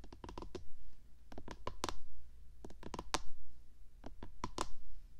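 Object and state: Plastic microphone housing tapped with fingernails.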